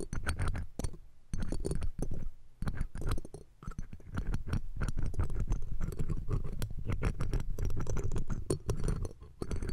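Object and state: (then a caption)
Metal microphone mesh grille being scratched. Metal ear-cleaning tweezers and a pick scratch and tap the round steel wire-mesh grille of a pencil condenser microphone with a hollow capsule head, the left mic of the pair. The result is a dense run of close, boomy, low-heavy scratches and rustling taps with a few brief quiet gaps.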